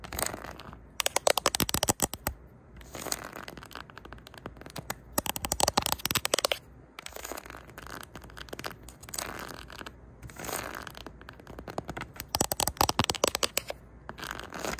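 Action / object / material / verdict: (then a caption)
scrape / cardboard record sleeves / cardboard / none. Long nails softly scratch across the spines of a row of old LP record sleeves, their thin cardboard edges packed tightly on a shelf. The result is dry, crackly, bright scratching that comes in fast bursts, with louder clusters separated by quieter stretches of light rasping.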